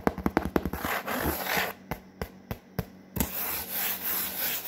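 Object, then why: Corrugated cardboard sheet. Long fingernails and fingertips scratch and rub across a large, flat, brown corrugated cardboard sheet. A quick burst of dry, papery taps and scratches gives way to broad hissing rubs, broken by a few sharp separate scrapes. It ends in a steady, bright rubbing texture.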